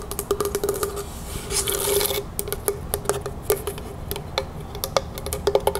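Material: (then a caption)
Wood. A small hollow lidded box carved from dark natural wood with bark-like sides is held and tapped on its top and sides with long natural fingernails. Quick, crisp clicks repeat at an irregular pace over a hollow, woody resonance near 400 Hz, with a brief bright scratchy hiss in the middle. Each tap dies away almost instantly.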